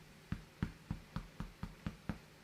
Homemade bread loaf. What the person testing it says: it sounds hollow it's done